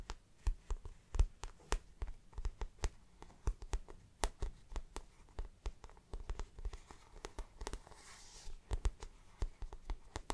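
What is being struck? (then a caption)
Patent vinyl handbag. Long black nails tap and scratch the shiny surface of a hollow, glossy floral-print patent vinyl handbag. Dozens of quick, dry taps with soft low thuds come in an uneven rhythm, broken by short stretches of faint scratching.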